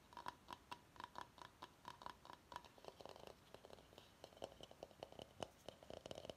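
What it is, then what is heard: Bamboo salad bowl. Fingernails tap and scratch the outside of a medium, hollow, empty bamboo salad bowl held in the hands. A quick series of short, dry, woody clicks with a faint hollow tone around 1 kHz shifts into denser scratching and tapping with a lower ring near 600 Hz. Each hit dies away almost instantly, and the whole clip stays quiet.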